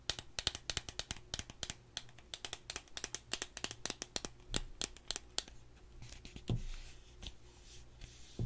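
Long acrylic nails tap and scratch along a small, slim, hollow gold cardboard cosmetic product box held in both hands. A quick run of sharp, dry, bright clicks comes first, then softer scratchy rubbing, over a faint steady low hum.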